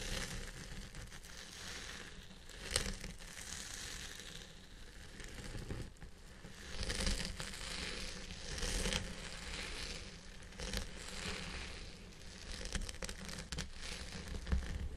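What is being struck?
Synthetic-fibre wig scratched with a plastic brush.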